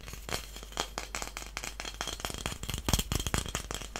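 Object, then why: Wooden incense stick holder. A long, flat, solid wooden incense stick holder with brass star inlays is held in the hands and tapped and scratched with fingernails. A quick, irregular series of dry, sharp clicks and taps mixes with scratchy rasping, and each sound dies away almost at once.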